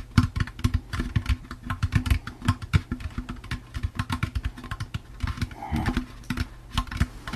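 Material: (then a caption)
Plastic. A hollow, empty orange plastic jack-o'-lantern candy bucket is tapped with the fingertips on its outer wall. The result is a rapid, uneven run of short, dull, low hollow knocks with almost no ring, and a soft brief scrape near the end.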